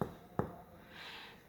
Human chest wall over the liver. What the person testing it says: Esse som mudou bastante. Som maciço.